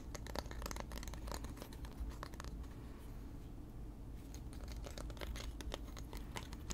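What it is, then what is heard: Wooden comb teeth scratched and flicked. Fingertips and nails run along the teeth of a small solid wooden hair comb held in both hands, scratching and flicking them. Dense bursts of sharp, bright clicks and scratches come in the first two and a half seconds, ease into a quieter, softer rasp in the middle, then pick back up toward the end. A steady low hum sits underneath throughout.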